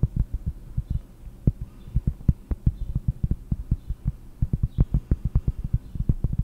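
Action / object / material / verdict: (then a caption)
tap / cork surface / cork / none. Cork is tapped with the fingers in a rapid, uneven series of deep, soft thuds. Each tap is a short, muffled low knock with almost no ring, and faint high chirps sound now and then in the background.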